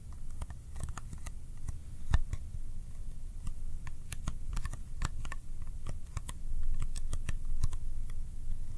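A small, empty-looking Kodak ColorPlus film box of thin, hollow cardboard is held in one hand and tapped quickly with the fingertips in a sticky tapping style. Rapid, light, dry clicks with bright tops patter irregularly over a steady low hum, each tap dying away almost at once.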